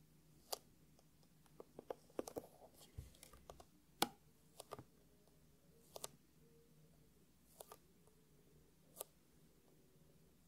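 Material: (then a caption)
Faux leather. Hands hold a closed, hollow, palm-sized black hard-shell eyeglasses case with a glossy faux leather covering, tapping and scratching the shell with fingertips and short nails. About fourteen sharp, quiet clicks and taps come at irregular intervals, each dying away almost instantly with a bright edge. Soft scratchy rustles fill the gaps between them.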